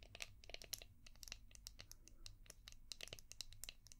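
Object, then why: Hard plastic brush. A palm-sized, translucent orange hard plastic brush shaped like a seashell, with a ridged back, is tapped and scratched with long painted nails. Quick, sharp clicks and scratchy bright ticks come in an irregular stream over a low, steady hum.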